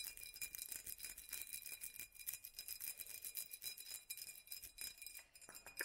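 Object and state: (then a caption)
Textured glass jar. Long natural nails rapidly tap a hollow, empty-looking glass mason-style jar with raised black hobnail dots, held in the hands. A dense, continuous run of quick, bright clicks sounds with almost no low end, each dying away almost instantly, over faint steady glassy ringing tones high up.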